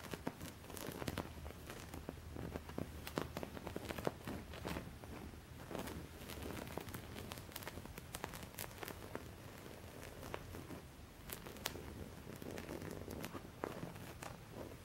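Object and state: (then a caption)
Embroidered cotton linen cloth. Painted fingernails scratch and rub across the stitched pattern of a white cutwork-embroidered cotton linen cloth laid flat. The result is a steady, quiet stream of soft scratchy crackles and crinkly rubbing with many short, sharp ticks over a low background hum. At the end, the hand moves away.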